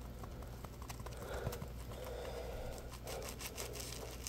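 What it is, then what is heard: Foam scrub sponge being squeezed and scratched. A yellow textured polymer foam scrub sponge (Scrub Daddy puppy) is held in both hands, bent and squeezed while fingertips rub and scratch the foam. Soft crinkling, scratchy rustles and brief taps sit over a steady low hum, with squeaky tones rising around the midrange during the squeezes.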